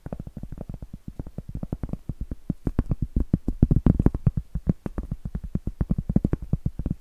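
A large, round, solid cork board held upright is tapped and scratched with long acrylic nails. The result is a fast, steady run of soft, dull, low taps with very short decay, mixed with faint scratching between them.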